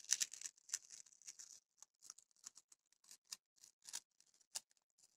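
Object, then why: Paper masking tape roll. Long grey nails scratch and pick along the edge of a small roll of yellow tesa paper masking tape held in both hands, and the tape is starting to peel. About thirteen quiet, dry, high-pitched scratchy bursts come one after another over about five seconds, each dying away almost instantly.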